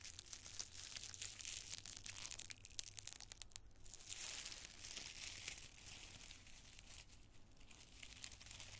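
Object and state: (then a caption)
Tissue paper crinkling. Two handfuls of thin, multicolored tissue paper squares are squeezed and crinkled in both fists with the fingers. The result is a dense, continuous run of bright, papery crackles and crinkles with a faint low hum underneath, easing briefly around the middle before picking up again.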